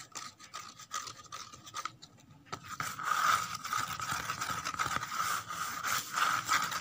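Long nails scrape the inner surface and torn edges of an empty, hollow corrugated cardboard box, making dry, scratchy rasping strokes with a hollow ringing tone around 1.2 kHz. The scraping is soft and broken at first, then grows louder and more continuous after about three seconds.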